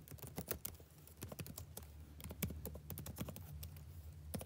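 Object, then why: Plastic laptop keyboard keys. Fingertips type on the plastic chiclet keys of a backlit laptop keyboard, giving a quick run of short, crisp clicks and taps. Each keystroke is a brief, dry tap that fades almost instantly, over a steady low hum.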